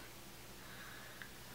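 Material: Nothing is struck.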